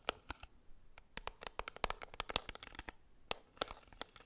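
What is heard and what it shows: Long acrylic nails tap and scratch a Maybelline Fit Me pressed powder compact, a small, flat, square black plastic case with a label, held in the hand. The result is a quiet, irregular run of sharp, bright clicks and ticks that stop dead with no ring, between soft scratchy rustles.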